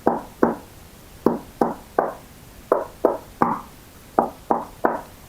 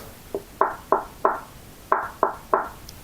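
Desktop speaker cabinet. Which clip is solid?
The second.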